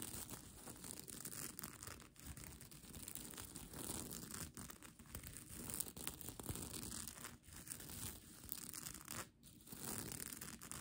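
Long nails scratch across the plastic sequins of a bunched-up sequin blanket, producing a steady, dense scratching and rustling with bright, crisp edges over a rougher low rumble. The texture continues with only brief dips in loudness, without clear pauses.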